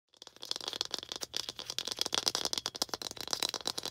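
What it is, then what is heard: Plastic ball tapped with nails. A small hollow red plastic ball, held in both hands, is tapped and scratched with long green acrylic nails. A dense, fast run of bright, dry clicks and scratchy rattling is heard, mostly high-pitched with almost no low end, each click dying out almost instantly.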